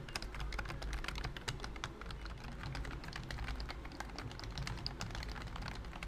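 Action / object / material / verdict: tap / plastic keyboard keys under a silicone skin / plastic / none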